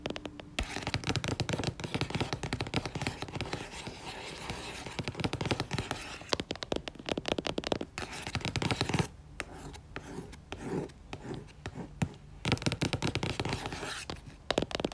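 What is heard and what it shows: Fingertips and long nails tap rapidly on the cover of a red and orange paperback book with a barcode, lying flat. The result is a dense, crackly stream of quick, dry taps with a scratchy texture and some low thumping body. The tapping comes in bursts, with a softer, sparser stretch around the middle and brief gaps before it picks up again.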